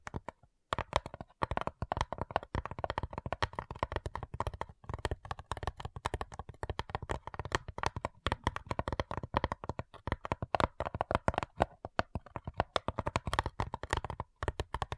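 Long nails tap rapidly on the lid of a flat, hollow cigar box made of light wood. The result is a dense, continuous patter of short, dry clicks and hollow woody knocks with a midrange tone and a soft low thump, each tap dying away almost instantly.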